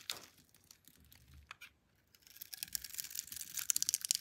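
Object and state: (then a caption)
Bar soap being cut. A solid pink Camay bar of soap, palm-sized and held in one hand, is scored and sliced into thin strips with a metal blade. Bright, crisp scraping and cutting sounds start softly, pause briefly, then build into a denser run of sharp little crackles toward the end.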